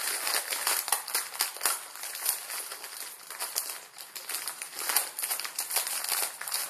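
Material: Plastic.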